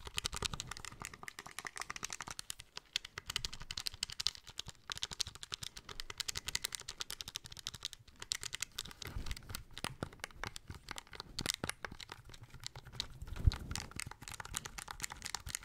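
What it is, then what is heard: Plastic handheld game console. Fingertips and nails tap rapidly across the front and buttons of a small, hollow, grey plastic handheld game console. The result is a dense, steady stream of short, dry clicks with bright edges and a soft hollow low thump underneath, ending with one sharper, louder tap near the end.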